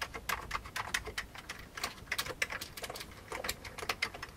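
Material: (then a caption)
Plastic. Both hands type with their fingertips on a full-size, old, beige plastic, mechanical-style computer keyboard resting on a desk. A rapid, uneven stream of sharp, bright key clicks sounds, each dying away almost instantly, with very little low end.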